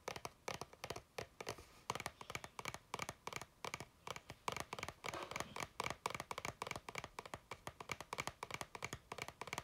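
An empty clear plastic water bottle with a blue cap, held in both hands, is tapped quickly with fingertips and nails. Dozens of short, dry, hollow clicks come in uneven bursts, with a plasticky tone around 1 kHz and a bright scratchy edge. Each tap stops almost at once, and the whole clip stays quiet.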